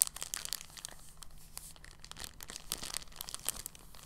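An empty, thin, clear polyethylene bag is lifted from a table and crumpled and squeezed in both hands. It makes a quiet, continuous stream of soft, bright crinkles and crackles, with a faint steady low hum underneath.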